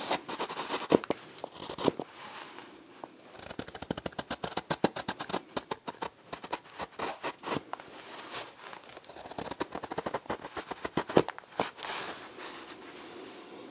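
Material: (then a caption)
Green wood. A steel knife is thumb-pushed along the handle of a solid, pale green-wood spoon about 25 cm long, shaving it. Many short, dry scraping cuts follow one another in quick runs, with a few sharper louder clicks and quiet gaps between bursts.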